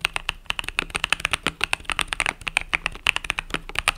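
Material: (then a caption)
Plastic. Fingertips type rapidly on a compact mechanical keyboard with pastel purple-yellow plastic keycaps. About thirty fast, crisp, bright clicks follow one another with almost no ring, concentrated in the upper range with a clacky peak near 2.7 kHz.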